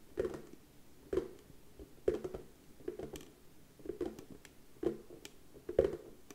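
Slow, quiet tapping on a wooden surface. It comes as short clusters of soft, dull knocks about once a second, each centered in the low midrange with almost no ring. A faint patter fills the gaps between clusters.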